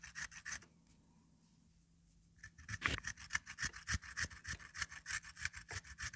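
A peeled raw potato is rubbed up and down by hand over the perforated metal grating face of a small hand-held grater with a pink plastic frame. A few quick rasping strokes are followed by a brief quiet pause, then a steady, rhythmic run of bright, gritty scrapes with a low thud under each stroke.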